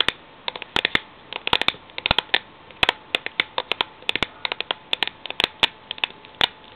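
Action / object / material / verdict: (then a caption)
tap / steel tin with paper label / steel / none. Long nails tap and scratch the side of a cylindrical Milo steel tin with a paper label as it stands on a laptop. Dozens of quick, bright, clicky taps come in uneven bursts, each dying away almost at once, with light scratching and a faint steady tone underneath.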